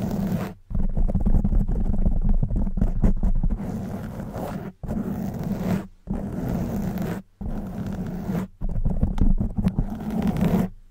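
Long white nails scratch a black foam windscreen on a silver microphone, making a dense, rumbling, muffled scraping with a steady hum-like band near 200 Hz. The scratching runs in continuous stretches broken by brief silent gaps, staying heavy in the lows with almost no bright top end.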